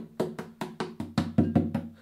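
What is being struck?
Wooden acoustic guitar body.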